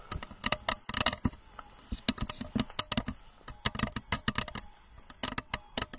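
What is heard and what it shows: Long manicured nails on both hands tap and scratch a blue translucent rocket-shaped lamp, about 30 cm tall, with a red plastic nose cone and base, held close in front of the microphone. The lamp looks hollow or liquid-filled. Quick, bright, clicky plastic taps come in uneven bursts, with short scratchy strokes and very little ring after each hit.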